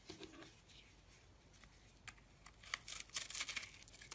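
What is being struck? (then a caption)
Soap lump scraped with a blade. A blade scrapes and digs into a solid, porous, dried-out lump of crumbly yellow-orange soap held in a hand with lilac nails. Quiet, bright, crackly scraping rasps start sparse, then grow denser and louder toward the end, with short crumbling bursts and almost no low end.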